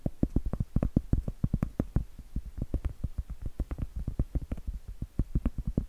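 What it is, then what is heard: Cork tapped. Cork is tapped in a dense, rapid run of short, dull taps that stay low and thuddy with almost no bright content. Each tap dies away almost instantly, with no ring between them.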